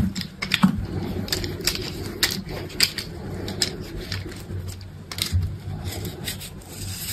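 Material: Soap.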